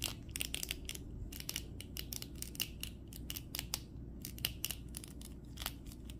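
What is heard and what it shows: Fingertips bend the knee and ankle joints of a red plastic The Flash (2023) action figure's legs back and forth. This produces a rapid series of short, dry, crunchy clicks with bright, high content centered near 2.9 kHz over a steady low rumble. Each click stops almost instantly.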